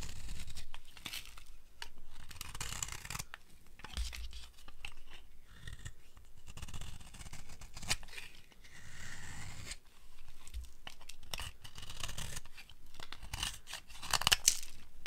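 A solid rectangular bar of dry yellow soap, held in the hand, is carved with a flat metal blade that peels off fine curled shavings. Repeated dry, crunchy scraping strokes rasp and crackle with a bright, papery edge over a steady low rumble. The sharper crisp cuts come near the end.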